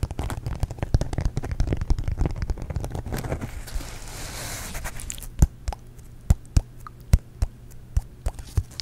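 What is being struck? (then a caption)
Thin glitter-coated foam sheet. A thin, solid, flat pink heart-shaped sheet of glitter foam with a glittery surface is held close in front of a microphone and scratched and tapped with fingertips and nails. Dense, rapid scratching crackles come first, easing into a soft brushing hiss. Then comes a run of separate, sharp, dry taps, all with a heavy low, thumpy body.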